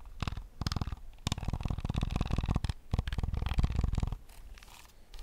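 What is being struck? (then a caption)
Plastic game controller shell and buttons. Fingertips tap and scratch the hollow plastic shell and buttons of a PS5 controller. Quick, dense bursts of clicky tapping and scratching run through most of the clip, with a deep low rumble underneath. The activity eases into softer scratching near the end.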